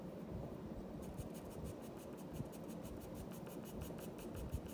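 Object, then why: Paper sheet scratched by a graphite pencil. A graphite pencil tip scratches across a flat sheet of white drawing paper lying on a wooden desk, as a black wooden pencil held in the fingers makes drawing strokes over a lioness sketch. Quiet, steady scratching sits over a low rumble, and from about one second in, faint bright swishes repeat in a regular rhythm with each stroke.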